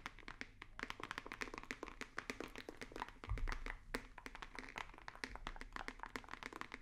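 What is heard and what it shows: A hollow, rigid white cardboard box held near the microphones is tapped rapidly and continuously with fingertips and nails. The result is a dense stream of dry, short clicks and soft hollow knocks with bright edges, plus a deeper low thump a little before the midpoint.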